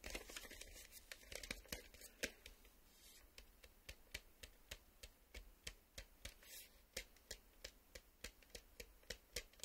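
Fingertips rapidly tap and fingernails scratch on the flat printed back of a cardboard VHS tape sleeve held on a table. Crisp, dry taps come in quick succession with short bursts of bright scraping between them, each tap dying away almost at once.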